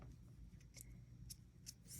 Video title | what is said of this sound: Watch me practice! Acrylic! | it's not really wet anymore if you tap on it you can hear the click and you can feel that it's hardened